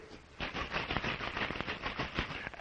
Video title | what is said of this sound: Wonderful World of Chemistry A Report on the DuPont Show The New York Worlds Fair 1964 65 Hagley | when in motion, the Baymal becomes a liquid